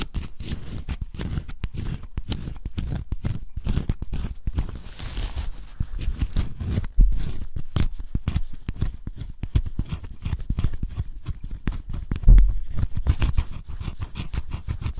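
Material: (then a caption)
Cardboard. A pointed wooden stick scrapes the black coating along the picture outlines of a cardboard scratch-off jigsaw puzzle, heard close up. The result is a dense run of quick, dry scratching strokes that stay low and muffled, with a couple of louder bumps near the seven- and twelve-second marks.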